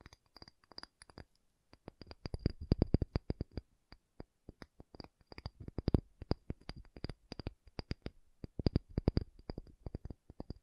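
A pumice stone is tapped in quick, irregular bursts of dull, low, dry knocks with almost no ring. There is a faint high click on each tap. The taps come softly at first, then grow louder and denser.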